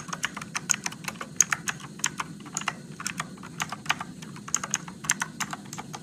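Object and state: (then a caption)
Plastic mechanical keyboard. Fingertips type slowly on an RGB-backlit Motospeed mechanical keyboard with blue switches and plastic keycaps, producing 24 sharp, bright clicks that stop almost instantly. A faint low hum sits steadily underneath.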